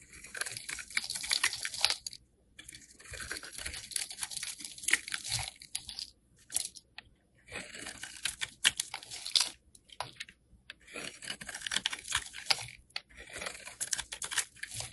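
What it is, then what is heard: Soap bar being shaved. A solid beige oval soap bar, held in the hand, is shaved into flakes with a metal box cutter blade. The result is bright, dry, crunchy scraping that comes in a series of bursts separated by short silent pauses, with almost no low end.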